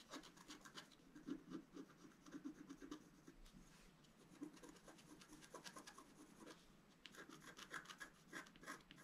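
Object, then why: Black-coated scratch-art card scraped with a wooden stylus. A wooden stylus scratches fine strokes through the black coating of a flat scratch-art card, coated over a colored foil layer and held flat on a table. Quiet, dry scratching and rasping strokes come in quick, uneven bursts with bright, hissy edges over a soft low-mid body, pausing briefly before a final run of sharper strokes.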